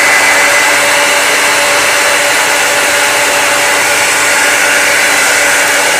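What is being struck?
Nothing is struck.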